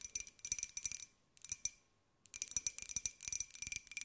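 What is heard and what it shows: Long white acrylic nails tap rapidly on a small, hollow, open-topped white glossy ceramic jar with a pink and gold pineapple print, held in both hands. Quick, bright, clicky taps come in bursts with a faint high ring and short pauses between them, then resume in a steady flurry to the end.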